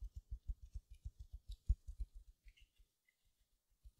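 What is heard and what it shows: Long nails scratch the surface of a small silver glitter mesh-wrapped foam sponge, making a quick run of soft, dull, low scratching thuds with faint bright crinkly edges. The strokes come steadily for a few seconds, then fade to near silence before two more pass at the end.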